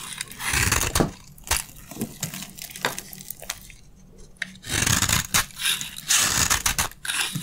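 A metal blade scrapes crunchy flakes from a dry red soap bar held in the palm. Bright, gritty scraping strokes and crisp crackles come in uneven bursts, with a quieter stretch in the middle before the scraping picks up again.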